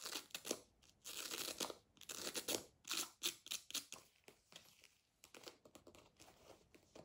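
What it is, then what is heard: Faux leather pencil case. Long nails and fingertips tap and scratch the surface of a medium, hollow black faux leather zip pencil case standing upright on a table, and a front flap is opened partway through. Quiet, bright, crinkly scratching comes in short bursts separated by brief pauses, with crisp clicks from the taps and almost no low end.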